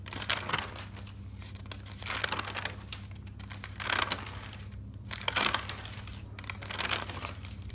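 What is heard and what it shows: A hand sweeps across the pages of an open thick paper notebook and flips them quickly, making soft, fluttering paper rustles. Bright crinkling bursts come and go in loose waves over a steady low hum.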